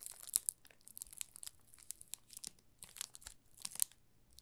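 A yellow solid bar of soap wrapped in clear plastic film is held and tilted in both hands while fingertips press and rub the film. This produces quiet, bright, dry crinkles and crackles in irregular bursts. Each snap is sharp and dies away instantly.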